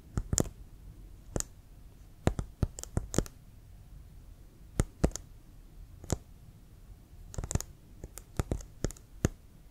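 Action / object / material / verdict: tap / leather American football / leather / none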